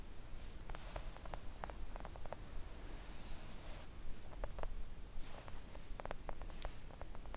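Long acrylic nails tap a thin, solid, flat pink silicone nail art mat, part of the time with only one hand. Soft, quick, muted taps come in loose clusters over a low, steady background hum, each dying away almost at once.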